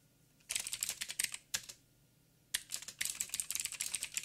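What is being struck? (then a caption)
Mechanical keyboard with plastic keycaps. Fingertips type on a backlit mechanical keyboard with plastic keycaps and blue clicky switches. Quick runs of sharp, bright clicks come in two bursts separated by a short silent pause, each keystroke ending almost instantly.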